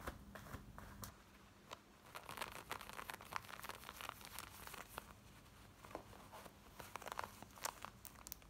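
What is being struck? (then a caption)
Denim jeans fabric. Long nails scratch quickly across worn black denim jeans, working over the fly, the waistband and the front of the fabric. The result is a dense run of dry, bright rasping scratches with occasional sharper crinkly spikes, all quiet and close, over a faint steady low hum.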